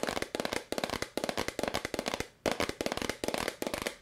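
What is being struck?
Plastic powder bottle.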